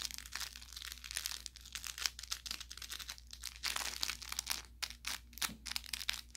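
An orange velour plush carrot cat toy with crinkle filling is squeezed near the tip with the thumb and fingertips. It gives a steady run of bright, dry crinkling and crackling bursts with no ring after each one, over a faint low hum.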